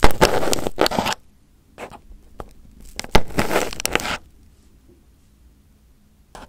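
Fingertips and a small pin poke and pick at crumpled aluminum foil wrapped over a round microphone head. Loud, broadband crinkling and scratching bursts come at the start and again around the middle, with shorter crackles and quiet low hum between them. The clip ends with a brief rustle.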